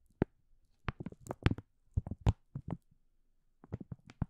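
A green and white printed plastic food packaging bag, hollow and apparently filled, is scratched and crinkled along its top edge by fingertips and nails. Short, dry crinkling bursts come in uneven clusters with brief quiet gaps between them.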